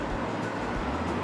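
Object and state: Nothing is struck.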